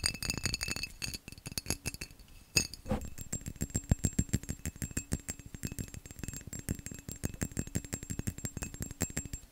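A textured glass vase is tapped fast and aggressively, producing a rapid, dense run of short glassy clinks and clicks with a low knocking thump beneath bright, thin ringing overtones. Each tap dies away almost instantly, and the tapping slows briefly around the two-second mark before a loud strike restarts a steady, rattling stream until the end.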